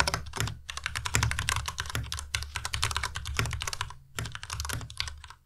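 A white compact Ducky Miya Pro mechanical keyboard with plastic keycaps is typed on continuously with the fingertips of both hands. Rapid, bright plastic clacks ride over a low thock beneath each keystroke, with brief pauses near the start and around the four-second mark before the typing resumes and trails off.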